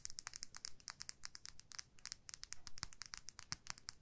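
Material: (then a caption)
Plastic. Long nails scratch and tap along a small clear plastic lip gloss tube filled with pink gloss, held horizontally. The result is a quiet, rapid, uneven run of crisp clicks and scratchy crinkles with a bright, high edge. Each tap dies instantly over a faint low rumble.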